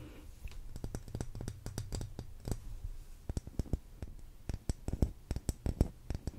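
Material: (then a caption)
Wax. Long green nails tap the side of a lit, solid pink cylindrical wax pillar candle, giving a series of short, sharp clicks at an uneven pace over a low steady hum. Each click is brief, and the taps come quicker and crisper toward the end.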